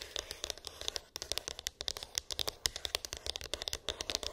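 Long pink acrylic nails tap and scratch a small white cardboard iPhone box with an embossed, textured lid, hollow with unknown contents. Quick, dry, bright clicks and light scratching patter continuously with very little ring, the sound sitting mostly in the high range.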